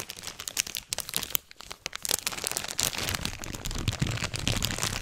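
A medium-sized flexible plastic and foil-laminate Sour Patch Kids candy bag, closed and partly full, is held in both hands close up and squeezed and crinkled with the fingers. The result is dense, bright crinkling with many sharp crackles over a low rumble of handling. A short quieter gap comes near the middle, then the crinkling builds steadily louder.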